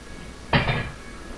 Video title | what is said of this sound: Buttermilk Potato Bread That Is a Must Have | when I tap it it's Hollow